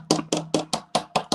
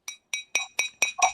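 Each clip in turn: First: Seven quick, dull taps with almost no ring: a plastic drinking cup rather than glass. Second: Seven quick light taps give a clear, high ting with thin ringing tones, the sound of real glass, not plastic.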